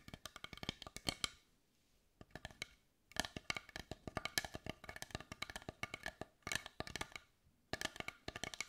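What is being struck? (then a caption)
Carved wooden heart. Long white nails tap and scratch the grained surface of a large, carved, dark brown wooden heart held in the hands. The bursts of rapid, dry, hollow clicks are bright and woody, with very short ring, and they are separated by brief quiet pauses.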